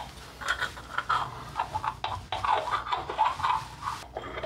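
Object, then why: Ribbed glass jar filled with candle wax. Long glittery nails scratch and tap the side of a small ribbed glass jar candle held in the hand; the jar is full of wax, pink at the bottom and red at the top, and has a paper label. A quick series of about a dozen sharp, glassy clicks and scratchy rasps is heard, each with a short, bright ring that fades fast.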